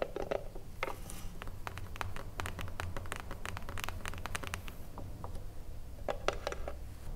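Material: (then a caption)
Wood. Long blue nails tap and scratch the front face of a small, hollow wooden cigarillo box. Quick, dry, hollow clicks with a woody tone around 570 Hz patter irregularly, and a few brief scratchy brushes come through. A steady low hum runs underneath throughout.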